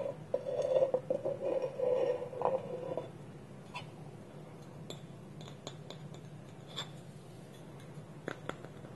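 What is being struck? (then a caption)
Small polished wooden bowl with wooden lid. A small, hollow, polished wooden bowl, its wooden lid held against it by both hands on a table, is scratched and tapped with a fingernail. For the first three seconds, dense scratching raises a hollow, ringing hum around 530 Hz. After that come quieter, scattered, sharp dry taps with brief bright clicks.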